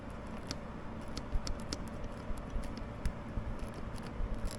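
Tapping the metal transition piece of the clutch hydraulic line on a ZRX1100 motorcycle makes it knock against a metal bracket, producing light, sharp metallic ticks with bright edges over a steady low rumble. It was suspected as the source of a buzz at 4k rpm, but the rattle was later traced to the headlight adjuster bolt instead.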